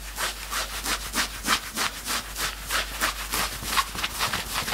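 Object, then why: Knit fabric sweatshirt. Both hands grab and scratch the grey front fabric of a worn knit sweatshirt. Fast, steady, dry rasping strokes repeat about three times a second, with bright, hissy texture and little low end.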